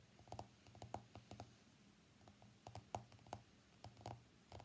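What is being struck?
Smartphone glass screen.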